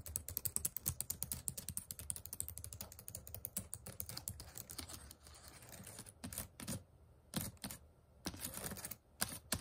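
Fingertips and short nails type on the plastic keys of a white HP laptop keyboard. A fast, dense run of short, bright clicks with a soft low thump fills the first half, then slows into scattered taps and brief bursts separated by quiet pauses.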